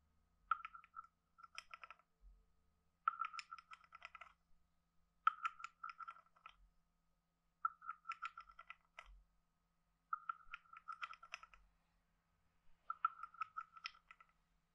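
A hand-sized hollow carved wooden frog guiro with a ridged back is scraped and tapped with a wooden stick. It makes seven quick bursts of dry, hollow wooden clicks centred around 1.3 kHz, with brighter ticks above. Each click dies away at once and there is no ringing.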